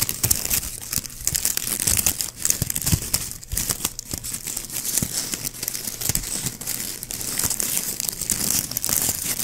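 A small white plastic ribbon gift bow is held in the fingers while the fingertips squeeze and scratch its looped petals. The result is dense, continuous crinkling and crunching with a bright, high texture that stays steady throughout.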